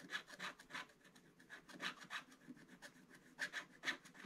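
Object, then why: Black-coated scratch-art paper scraped with a wooden stylus. A wooden stylus scratches the black coating off the numbered squares of a scratch-art paper page in a Paw Patrol advent calendar scratch book, lying flat on a table while the other hand holds the book. Quiet, dry, raspy strokes come in uneven bursts with a bright, papery hiss and almost no low end.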